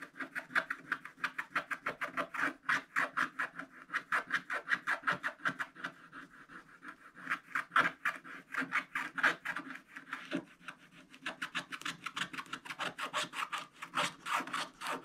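A wooden stylus held in the fingers scratches the black coating of a spiral-bound scratch-art book page, revealing the holographic foil beneath in rapid, short strokes. The result is a steady run of dry, raspy scratches, bright in tone and centred in the midrange, with brief softer gaps where the hand sweeps over the page.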